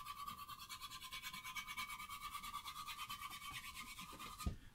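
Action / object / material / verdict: scrape / rough-sawn wooden board / wood / none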